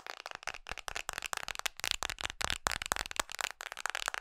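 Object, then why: Hard plastic phone case on a smartphone. Long nails tap fast on the back of an iPhone in a red Mickey-print hard plastic case. The result is a rapid, dense stream of dry, bright plastic clicks with almost no low end and no ring after each tap.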